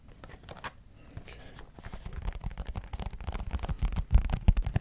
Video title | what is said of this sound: Tap Yourself To Sleep - ASMR (Extreme Box Tapping) | it's very, very delicate and sort of sticky. So it makes a sticky tap